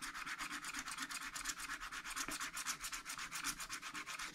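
A wooden stylus rubs and scratches rapidly across the wax-coated sheet of a spiral scratch-art paper pad held flat by one hand, with about twenty quick strokes in a loose rhythm. Each stroke makes a dry, bright, hissing scrape concentrated in the upper range, with almost no low end.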